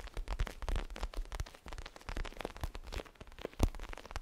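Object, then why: Small pillow with a crinkly plastic cover. A small pillow with a zigzag pattern and a crinkly plastic cover is tapped and scratched with fingertips and moved quickly. Dense crinkling and crackling rustle comes through as a rapid run of soft, short taps with deep, thumpy low end and little brightness, plus a louder crunch near the end.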